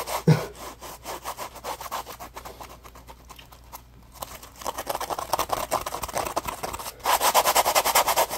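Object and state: Dry foam sponge rubbed.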